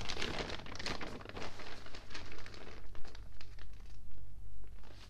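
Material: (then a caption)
Newsprint. A water-damaged open newspaper of thin newsprint is rubbed with a flat hand, and a page is turned. Soft crinkling and papery rustling rise and fall in short swells over a steady low hum.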